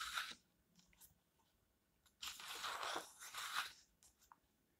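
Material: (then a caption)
Paper. Fingertips smooth and turn the thin paper pages of an open paperback book lying flat on a white table. A brief bright rustle is followed by faint touches, then a longer, louder crinkling rustle as a page turns. Soft ticks fade out at the end.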